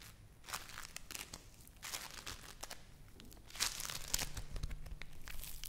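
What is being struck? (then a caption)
Play foam lump of tiny foam beads. A yellow lump of play foam (foam bead clay) is kneaded, squeezed and torn apart with fingers and long nails close to the mic. The result is a dense run of bright, crackling crinkles and tearing crunches over a low rumble, getting louder in the second half.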